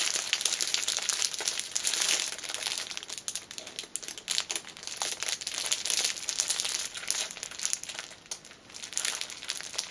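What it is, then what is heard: Cellophane-wrapped fabric pouch. A small black fabric pouch wrapped in clear cellophane is held in both hands while long nails squeeze and scratch the wrapper. The result is a steady stream of dense, bright crinkling and crackling with almost no low end, rising and falling in brief louder bursts.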